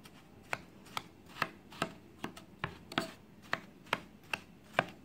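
A black-handled knife cuts down and scrapes through a round, solid block of compressed baking soda, dyed orange and white, on a white tray surrounded by crumbled powder. About eleven sharp, crunchy crumbling bites come in a steady, slightly uneven rhythm, each a brief bright crackle that stops almost at once over a faint gritty hiss.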